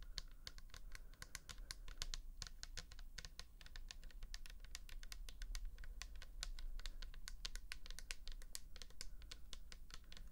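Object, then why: Plastic bottle with liquid. Long nails rapidly tap and scratch the label of a pink plastic toner bottle filled with liquid, held close up. A dense, steady stream of quick, bright clicks and scratchy strokes runs throughout over a low, soft rumble.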